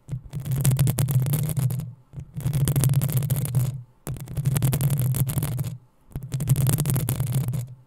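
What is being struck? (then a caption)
Metal mesh microphone grille. Long nails scratch the sides of the hollow metal mesh grille on a black desktop microphone. Four scratching bursts of about one and a half seconds each produce a deep, boomy low rumble under a dense, crackly bright rasp, separated by brief near-silent pauses.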